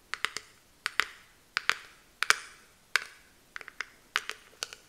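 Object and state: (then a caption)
Plastic hairbrush back. Long nails tap and scratch on the hard, patterned plastic back of a small detangling hairbrush with a clear handle. About sixteen quiet, bright clicks come in irregular groups of two or three, each with a short scratchy tail that fades quickly.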